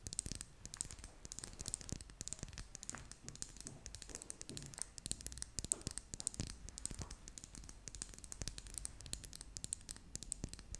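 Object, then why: Small plastic lip gloss tube with metal band. A small red and clear plastic lip gloss tube with a metal band is held in both hands while long nails scratch and tap along it. The result is a quiet, steady stream of fast, dry clicks and scratchy rustles with bright high crackle and no ring after each tap.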